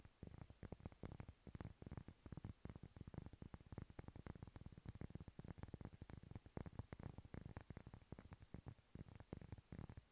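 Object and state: Cork board.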